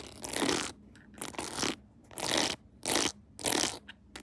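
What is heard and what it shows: Long nails tap and scratch the edges and decorations of a clear plastic phone case decorated with a pearl Hello Kitty and rhinestones, on a phone mounted on a tripod. Five main bursts of bright, crunchy scratching rise and fall with short quiet gaps between them, followed by a few faint taps at the end.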